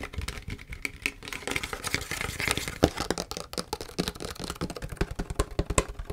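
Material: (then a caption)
Plastic. Long fingernails tap and scratch a large, mostly empty clear PET plastic tea bottle with a green label, working over both the label and the bare plastic. Rapid, dry, clicky taps with almost no ring-out sit over a scratchy, bright rustle, with a hollow plastic body around 300 Hz.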